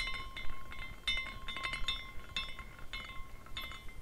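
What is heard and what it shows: A small glass carousel figurine is twisted by the fingertips at its top finial and then spins, so its hanging glass horses clink against the glass posts. About ten bright, irregular tinkling clinks ring out briefly, with steady tones near 1 kHz and 2 kHz over a low, soft rumble.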